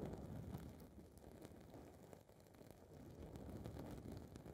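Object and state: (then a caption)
Foam microphone windscreen scratched. Long red nails scratch and rub the side of a small blue foam ball windscreen on a recorder's mic capsule. The result is a dense, muffled, low rumbling crackle with irregular scratchy bursts that briefly fade in the middle before building again.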